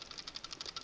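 A plastic CCAGU 13.5 Ah heated-vest USB power bank is shaken, giving a quick series of faint, light, high-pitched rattles that seem to come from one end. Something loose inside is rattling, which is not a good sign.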